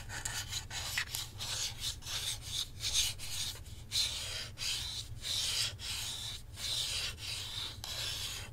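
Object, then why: Plastic game controller grip. Fingertips and nails scratch and rub the back and handles of a hollow black plastic Nintendo Switch controller grip with Joy-Cons attached, held in both hands. The result is a steady run of bright, dry scratching strokes separated by brief pauses, over a faint low hum.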